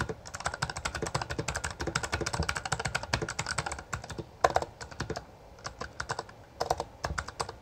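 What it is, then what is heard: Plastic mechanical keyboard. Both hands type continuously with their fingertips on a Bloody B820R, a full-size black plastic mechanical gaming keyboard with backlit keycaps and a hollow housing. Rapid, dense runs of short, sharp clacks are heard, with a midrange tone around 700 Hz and some low thock. The typing slows briefly near the middle before picking back up.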